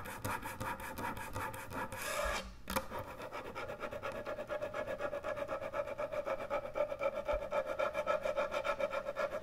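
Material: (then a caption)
Wood. Long nails scratch quickly across the top and front edge of a large, thick, solid end-grain hardwood butcher block cutting board. The dry, rasping strokes repeat in a fast, fairly steady rhythm, with a brief break shortly after the start before continuing.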